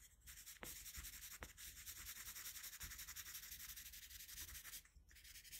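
A colored pencil held in a metal extender rubs and shades across a flat sheet of drawing paper. A steady, bright, scratchy rasp pulses with the back-and-forth strokes and is mostly high-pitched, with a couple of brief sharp ticks near the start. It eases slightly near the end.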